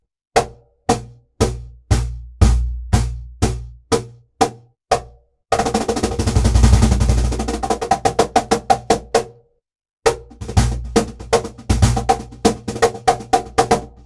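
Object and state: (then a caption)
Birch plywood cajon played by hand. A hollow birch plywood cajon with MDF sides is struck on its front panel with open palms and fingertips near the top edge and centre. Ten evenly spaced, deep booming hits come first, each with a bright slap on top and a quick decay. They are followed by a dense, rapid roll of overlapping strokes, a brief pause, and another fast rhythmic run of bass and slap tones.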